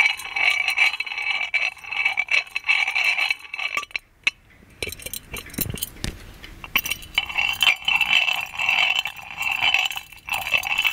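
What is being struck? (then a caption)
Gold-plated metal lamp. Fingernails tap and scratch the lid knob and body of a gold-plated metal magic lamp with a chained lid. The result is a dense, irregular stream of bright metallic clicks and scratchy rasps, each with a short, tinny ring. There is a brief quieter pause in the middle before the tapping picks up again.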